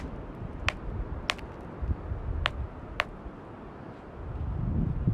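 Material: Ironstone.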